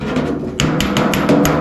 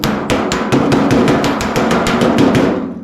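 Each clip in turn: First: Six bright, metallic pings from a hammer on steel sheet, each with a short clear ring: the dolly sits behind the blow. Second: Rapid, steady hammer blows on sheet steel give a hollow, drum-like thud rather than a bright ping.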